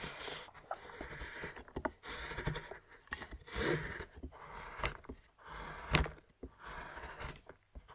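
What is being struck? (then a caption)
Milk chocolate bar on a wooden board. A large knife scrapes shavings off a flat solid milk chocolate bar held by the fingers on a wooden board. Soft, dry scraping strokes come in uneven bursts with a few sharper clicks in between.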